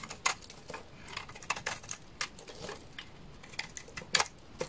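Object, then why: Bar of laundry soap cut with a knife. A utility knife scrapes curls off the surface of a solid, dry bar of amber laundry soap. Short, crisp scraping strokes crackle in quick bursts, bright and mostly high-pitched with little low end. Each stroke ends abruptly with almost no ring.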